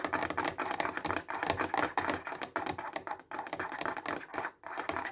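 A clear plastic box full of highlighters is tapped fast with the fingertips and nails. The result is a dense, continuous run of quick, clicky taps, much like rapid typing, with a mid-pitched plastic tone and short ring. The taps pause briefly twice before resuming.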